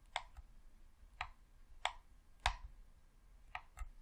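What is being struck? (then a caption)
Plastic game controller. A thumb presses the D-pad and thumbstick of a hollow red plastic Xbox controller, making six short, dry plastic clicks spread unevenly over about four seconds. Each click is bright and sharp, spanning the mids into the highs, and dies away almost at once over a faint low background rumble.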